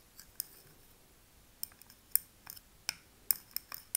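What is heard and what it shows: A thin metal pick taps and scratches the glass rim of a small glass candle jar filled with wax, with a paper label on the front. About a dozen quiet, sharp, bright clicks come at an irregular pace, each dying away almost at once, with faint scraping between some of them.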